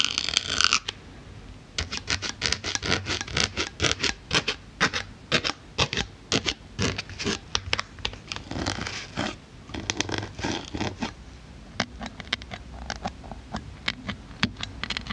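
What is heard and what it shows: A needle tool pokes a solid white polyethylene foam block, then long black nails rest on and tap its top. The result is a fast, uneven run of short, dry, bright scratchy taps and pokes that stop almost instantly. A brighter, louder scrape opens the clip.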